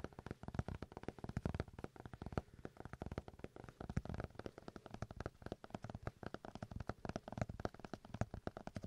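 A paper notebook is tapped rapidly, producing a steady stream of soft, dull, low-pitched taps with very little high-frequency content and no ringing.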